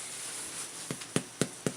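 Taps on the bottom of a bread loaf partway through baking give four short, dull thuds with almost no ring over a faint background hiss. The loaf sounds dull rather than hollow, so it is judged underbaked and goes back in the oven for about 10 more minutes.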